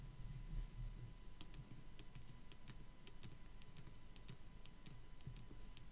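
Long black acrylic nails tap and scratch a small white molded skull decoration with raised swirl and spiderweb details, likely a hollow plastic Dollar Tree piece. Quick, dry, bright clicks fire in an uneven stream and die away almost at once, over a faint steady low hum.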